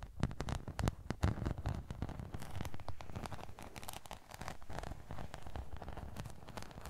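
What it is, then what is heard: Glitter craft sheet scratched. A rectangular sparkly glitter craft sheet, held upright beside the microphone, is rubbed and scratched with fingertips and nails. The result is a dense, crackly stream of quick scratches and soft taps with a low, thumping body under faint bright edges.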